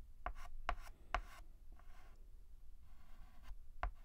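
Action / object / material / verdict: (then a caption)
scrape / chalk on a chalkboard / chalk / none. White chalk scratches across a black chalkboard in short strokes that fill in the letter A. Four sharper scraping strokes stand out, with softer, quieter rubbing passes between them, all over a low background rumble.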